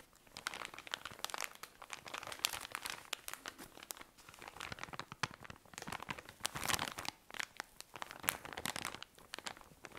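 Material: Thin plastic.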